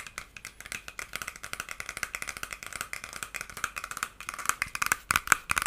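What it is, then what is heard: Plastic hair brush bristles flicked. Fingertips and nails run along and flick the white plastic bristles of a hand-sized, solid lilac plastic hair brush. The result is a rapid, irregular stream of dry, bright clicks and ticks centered in the upper mids, each dying away instantly. The flicks grow sharper and louder toward the end.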